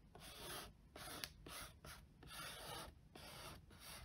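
Fingertips and short nails trace and scratch across the printed top of a flat, closed, hollow cardboard box lid. The result is a series of soft, dry, bright rasping strokes with short pauses between them and a faint hollow undertone.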